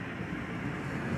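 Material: Nothing is struck.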